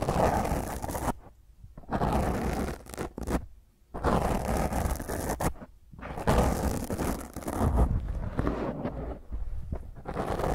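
Long grey nails scratch and fingertips rub a black dome foam microphone windscreen, producing loud, rough, rumbling scrapes in bursts. The scratches come in heavy, low-weighted washes of noise separated by brief near-silent pauses.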